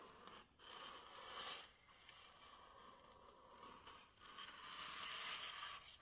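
A small, white, solid expanded polystyrene (styrofoam) block is held in both hands and scratched and rubbed with fingernails and fingertips. The result is a steady, bright, scratchy friction with a squeaky edge. It swells and fades in waves, with brief dips between strokes.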